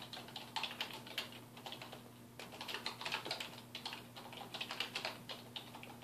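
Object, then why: Plastic computer keyboard. Fingertips type on a dark plastic desktop keyboard resting on a wooden desk, producing rapid, uneven bursts of short, bright plastic key clicks. Each click dies away almost instantly, with brief pauses between runs of keystrokes, over a faint steady low hum.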